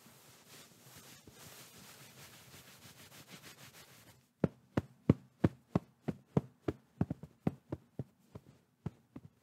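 Fingertips and palms work a medium, soft, white quilted fabric pillow held at the microphone. For about four seconds there is a steady, hissing rub across the fabric. Then come 17 separate soft, muffled, low thuds of tapping and patting, each dying away almost instantly.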